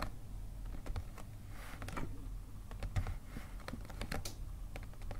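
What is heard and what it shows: Fingernails tap rapidly on the front of a hollow white paper gift bag while hands hold its sides. The result is quick, dry papery clicks over a steady low rumble.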